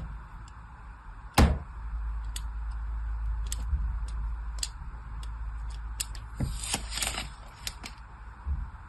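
A hand-sized solid orange bar soap, held in a hand with white nails, is scored with a thin black blade in crossing lines. Sharp, bright scratching clicks and short cutting scrapes come in an uneven series, with a louder crack early on and a denser run of scrapes near the end. A steady low hum sits underneath throughout.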